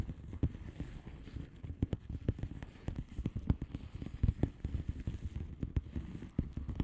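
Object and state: Bubble wrap envelope tapped with nails.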